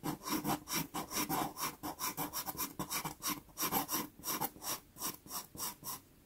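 A dark brown pastel pencil shades a small, taped, sienna Pastelmat pastel paper card. About 23 quick, rasping scratch strokes follow one another in a loose rhythm. Each stroke is a short, dry, bright scrape with little low end and no ring.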